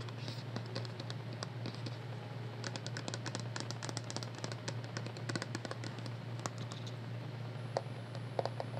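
A small, hollow white plastic cosmetic skincare bottle with a pump top is held in the hands and tapped and scratched with long nails. Soft, rapid, crisp clicks and light scratching run throughout at a quiet level over a steady low hum.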